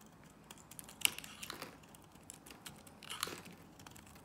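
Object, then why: Bar of soap cut with a blade. A box-cutter blade carves thick curled shavings off a solid, palm-sized green Nivea soap bar held in one hand, with a blue soap bar lying unused nearby. Quiet, bright, crisp scraping and crackling cuts come in short bursts, the sharpest snap near the one-second mark and another cluster around three seconds, with almost no low end.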